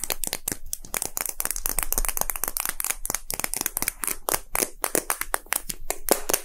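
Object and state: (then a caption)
Plastic gacha capsule. A small, hollow, red-and-white plastic gacha capsule shaped like a Poke Ball is held and tapped quickly with fingertips and short nails. The result is a dense, uneven run of sharp, dry clicks and taps with bright high edges and almost no ring.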